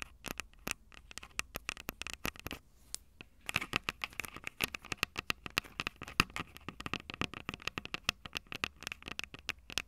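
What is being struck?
Handheld audio recorder, plastic body with metal mic capsules.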